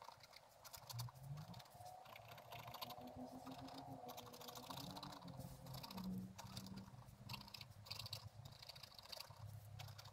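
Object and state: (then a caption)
Scratch-art paper page. A thin wooden stylus scratches across a flat page of black-coated scratch-art paper with a gold underlayer, bound in a book. It makes a quick, continuous run of dry, bright scratching strokes over a low, steady hum with slowly gliding tones.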